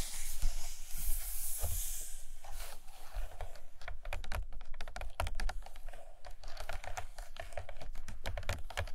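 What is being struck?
Hardcover book with glossy paper pages.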